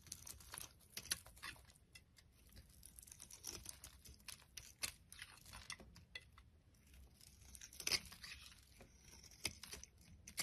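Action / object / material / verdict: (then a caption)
scrape / soap bar / soap / none. A solid yellow Palmolive soap bar held in the hand is shaved with a utility blade, peeling off curls. Quick, bright scraping and crinkly tearing sounds come in dense, uneven bursts with very little low end, each stroke dying away almost instantly.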